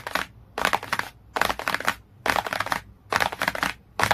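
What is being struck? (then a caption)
Cardboard hardcover book. Fingertips and nails tap and scratch the cover of a glossy cardboard hardcover book. Quick, dry, bright tapping and scratching comes in repeated bursts separated by short pauses, with no ringing afterward.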